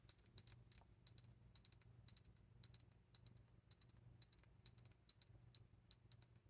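An old glass specimen bottle, its glass full of air bubbles, is tapped over and over in quick little clusters. Each tap is a quiet, bright clink with a high glassy ring that dies almost at once, over a faint low hum.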